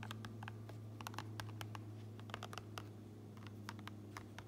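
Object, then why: Fabric baseball cap interior. Fingertips with long nails tap and scratch the gray lining and printed seam tape inside an upturned, empty fabric baseball cap, while a large metal ring is worn on the hand. A quick, irregular series of soft, short clicks and scratchy ticks, with bright edges, plays over a steady low hum.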